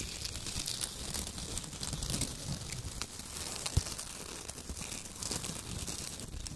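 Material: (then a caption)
Paper. Both hands squeeze and crumple handfuls of shredded kraft paper: thin, torn brown strips. A dense, continuous crinkling and tearing rustle fills the clip, bright on top with a low rumble underneath. One sharper crackle stands out just before the four-second mark.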